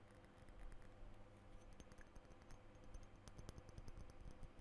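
Fingernails tap on a blue glass perfume bottle with a metal spray top, held in both hands, striking both the glass body and the cap. The result is a quiet, steady stream of quick, dry clicks and ticks with almost no ring, over a low, constant hum.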